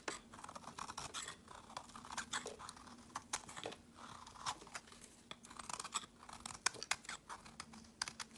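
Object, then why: Translucent soap bar shaved with a metal knife. A metal knife blade shaves a solid translucent green soap bar held in hand into small flakes, making a quick, irregular run of crisp, crunchy scraping strokes. The strokes are bright with very little low end and no ringing, over a faint steady low hum. The result is a quiet, close, dry shaving texture.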